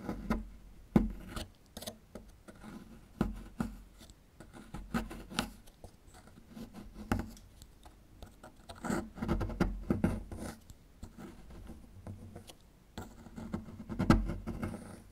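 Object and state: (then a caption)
Plaster fossil excavation block. A small metal chisel tool scrapes and chips at a small, solid plaster fossil excavation block. The result is a run of irregular, dry scratching strokes broken up by sharp little clicks and taps. The sound is mostly low and mid-toned, with a faint pitched tone around 230 Hz, and each hit dies away almost at once.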